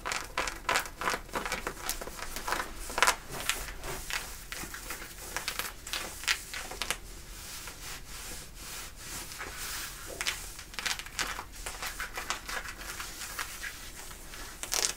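Long nails scratch and rub the thick fabric of worn light-blue denim jeans at the hip and back pocket. The result is a steady run of dry, bright, rasping scratches in short bursts, with occasional louder strokes over a soft, continuous rubbing hiss.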